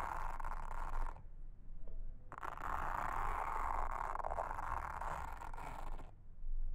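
A pink mascara spoolie brush, held in a hand with long red nails, brushes and scratches across a flat, solid, round blue silicone trivet mat with a honeycomb texture lying on a table. A dense, scratchy rustle is heard for about a second, then a pause, then a longer stretch of steady brushing. It stops around six seconds, over a constant low rumble.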